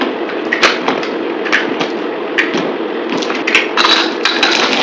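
A yellow utility knife scrapes and carves a dry solid green soap bar, held in the hand among glitter soap decorations, into crumbly shavings. A steady, bright scraping hiss runs throughout, broken by sharp, dry crackling snaps as the blade breaks the soap into pieces.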